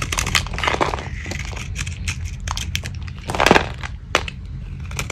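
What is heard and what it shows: A metal blade carves and shaves brittle flakes off a small, solid, dry soap bar that is held in the hand, with its paint mostly removed, now white with a purple rim, while shavings pile up on the table. Crunchy scraping and crumbling sounds come in a rapid series of bright, crackling bursts over a steady low rumble. A stronger crunch stands out near the middle.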